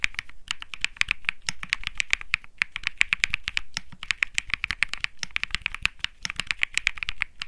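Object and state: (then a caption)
Mechanical keyboard with plastic keycaps. A cream 65% Think 6.5 mechanical keyboard with plastic keycaps and Bsun Lollipop switches is typed on rapidly with the fingertips of both hands while it rests on a felt desk mat. About fifty quick, crisp key presses come in fast runs with brief pauses. Each clack is short and bright, centered near 2.3 kHz, with a soft low thump underneath.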